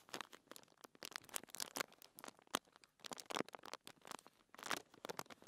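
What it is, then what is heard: Paper sheet scratched by fingernails. A flat, thin white paper sheet lying on a table is scratched and rubbed by fingertips and long nails. The result is a busy run of dry, crinkly scratches and rustles, bright and crisp with almost no low end, coming in quick clustered bursts with brief quiet gaps.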